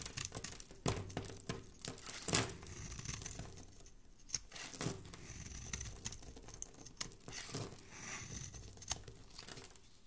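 A hand-held rectangular bar of purple soap with an embossed logo is scraped and carved with a thin metal blade, shaving off curls and powder. Irregular crisp scratches and dry crinkling crackles come one after another, with a few sharper bright strokes standing out. Each stroke ends quickly.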